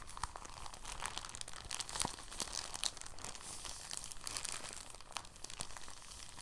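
A rolled, clear, thin, soft plastic bag is squeezed and unrolled by fingers, giving a steady, quiet crinkling. Dense, bright crackles are broken by sharper snaps that stop dead with no ring, over a faint low rumble.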